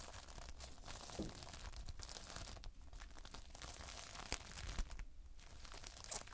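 Fingers squeeze and lift a lump of multicolored Playfoam, foam beads held in a sticky binder. It gives a quiet, continuous stream of fine crackling and crinkling, with sticky tearing pops and a few sharper bright snaps over a low background rumble.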